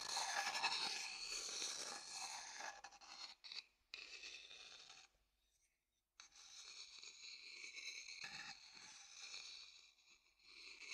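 The inside of an empty, dark-brown hollow wooden bowl, held in the hand, is stirred and scraped with a wooden stick. The result is a quiet, bright, rasping scrape, strongest in the high range. It fades into a brief near-silence in the middle of the clip, then resumes as softer circular scraping.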